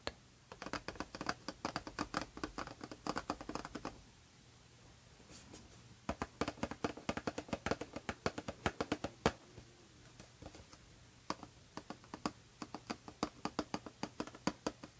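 Long painted nails tap and scratch the front of a small, hollow Dsquared2 Want perfume box made of gold foil-coated cardboard, held upright. Quick, dry, papery taps come in rapid bursts with brief scratchy textures, separated by two short quiet gaps. Each hit dies away almost at once.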